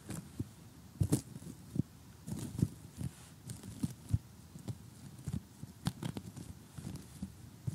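Short glittery gel nails tap on the pieces of an assembled cardboard jigsaw puzzle of a blue sky and colorful houses lying flat. The result is an irregular series of soft, dull, low taps that stop almost instantly, with a faint crinkly crackle between them.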